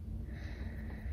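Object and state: Nothing is struck.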